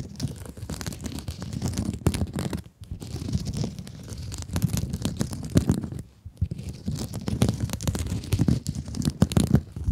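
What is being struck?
Plastic mesh scrub sponge.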